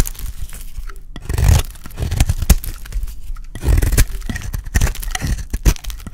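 A solid, dry, hand-sized green Safeguard soap bar is held in one hand and shaved and scraped with a small utility blade. Repeated dry, crunchy scraping strokes come in uneven bursts, each with a soft tearing crackle. The sound is heavy in the low end and stops short with almost no ring.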